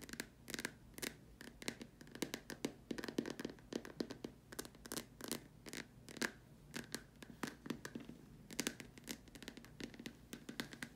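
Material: Plastic.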